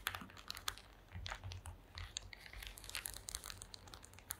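Long acrylic nails scratch and tap across a flat woven placemat made of small wooden slats. The result is a rapid, irregular run of sharp, dry clicks and bright scratchy rasps that die away almost instantly, over a faint low rumble.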